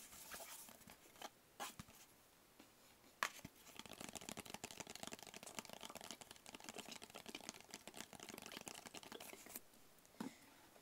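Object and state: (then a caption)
Cardboard gift box. A small, hollow, closed black rigid cardboard gift box is held in the hands and tapped on its sides with the fingertips. A few scattered soft taps give way to a long run of quick, dense, dry tapping with a bright, papery click and almost no ring, then a couple of final taps.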